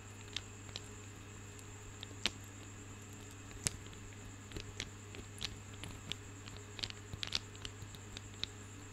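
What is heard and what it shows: Long fingernails tap and scratch a decorative bunch of small, solid, polished marble grapes held close to the mic. The result is a scattered run of sharp, bright clicks and light scratches with almost no ring, over a steady low hum and a faint high whine.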